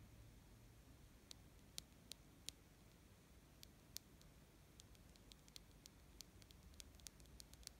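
Fingernails scratch and tap along the light-blue patterned plastic or silicone strap of a small plastic wristwatch held in the hand. Very quiet, sharp, bright ticks and clicks are scattered irregularly over a soft rustling hiss and a low hum. Each tick dies away almost instantly.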